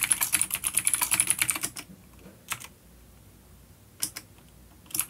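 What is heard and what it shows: Fingertips of both hands type on a full-size dark plastic vintage mechanical keyboard with clicky blue switches and grey keycaps, resting on a wooden desk. A quick burst of sharp, bright clicking keystrokes runs for almost two seconds, then only a few isolated clicks follow through near silence. Each click is short and high, with very little low end.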